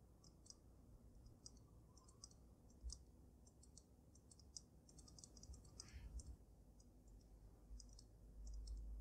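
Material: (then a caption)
Glass. Long nails tap and click on the glass dome of a water-filled dragon snow globe. A steady run of quick, bright clicks rides over a quiet, constant low hum, with each tap dying away almost instantly.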